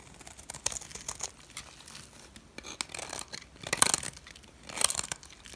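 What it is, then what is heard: Dry soap bar being shaved. A solid turquoise dry soap bar has its face and edge shaved with a metal blade, and chips break off. The shaving makes soft, dry, crisp scraping and crunching bursts in irregular strokes, bright and high with almost no low end. Louder crackly passes come near the middle and end.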